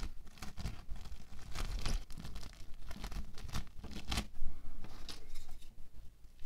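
Fingertips scratch a flattened sheet of orange bead foam clay (playfoam) on a white table and gather it into a loose heap. Dense, dry crackling and tearing sounds come in quick, uneven bursts, each with a brief sharp snap over a soft low rumble, and the sound stays close and steady throughout.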